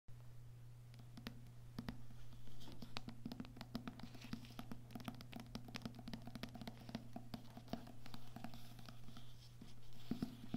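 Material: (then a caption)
Paper. Fingertips with medium nails tap and scratch the glossy card cover of a medium, solid-paper paperback poetry book lying flat on a table. Quick, dry, soft taps and brief scratches come in an irregular patter, each with a short, bright click. A steady low hum runs underneath throughout.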